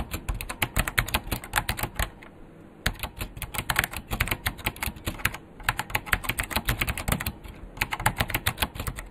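A vintage beige plastic full-size KPT-102 mechanical keyboard with Alps switches and a hollow case is typed on quickly with the fingertips of both hands. Rapid, sharp, bright clicks and clacks ride over a hollow low-end thud, in bursts broken by brief pauses.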